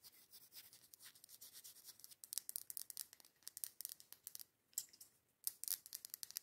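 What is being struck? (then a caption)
Matte glass candle jar with wax inside. Very long yellow acrylic nails tap and scratch the sides of a medium, matte dark-green glass candle jar that has a white label and a cork lid and is filled with candle wax. The result is a rapid, quiet run of bright, crisp clicks and scratchy rasps with no low end and almost no ring, pausing briefly near the five-second mark before resuming.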